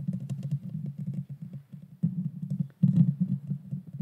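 Long painted fingernails scratch across the bare metal mesh grille of a small pink Blue Yeti Nano USB microphone with a hollow head. The result is a dense, low, rumbling scrape centered around 140 Hz, made of rapid overlapping strokes with almost no high content. The scratching surges louder just after 2 seconds and again from about 2.8 seconds on.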